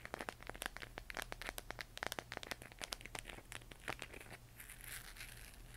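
A hollow plastic LED moon lamp glowing cyan, held in both hands, is tapped and scratched with long nails across its textured surface. A rapid run of sharp, dry clicks fills the first four seconds, then gives way to softer, bright scratching, all over a faint steady low hum.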